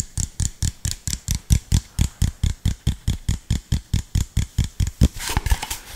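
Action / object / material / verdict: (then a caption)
tap / plastic bottle / plastic / none. An empty, hollow clear plastic (PET) soda bottle with an orange cap and label is tapped with fingertips and nails in a quick, steady run of about 24 dull, low thumps. Near the end the taps give way to a brief bright crinkling of the plastic.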